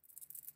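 A small tilt switch shaped like an electrolytic capacitor is shaken, and the metal ball bearing inside rattles in quick, faint, high-pitched clicks. The rattle confirms what the switch contains.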